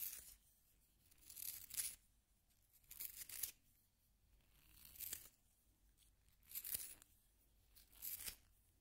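A solid yellow wooden pencil is twisted in a small pink plastic hand sharpener, the blade shaving the wood. Bright, dry scraping and shaving bursts come in an uneven rhythm, each a few seconds apart, with quiet pauses between them.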